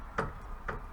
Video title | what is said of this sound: Adjust snowblower cable to compensate for friction disc wear - snow blower maintenance | and now you hear the metal, the black piece knocking on the metal here. So you need to hear that small knock